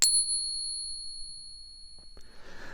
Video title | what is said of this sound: If You Stack SILVER You Need THIS! | you hear that long resonating sound